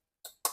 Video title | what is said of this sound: Ali express CarPlay double din headunit under $30 | it almost sounds like plastic and it sort of looks like plastic it is just a very very thin aluminium